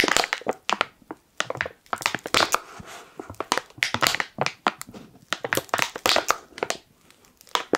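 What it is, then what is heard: Foil-lined plastic coffee bag. Fingers crush and crinkle the top corner of a black, foil-lined plastic coffee pouch. The result is a quick, uneven run of sharp, bright crackles and crinkles with almost no low end, each burst dying away instantly, with brief quieter rustling between them.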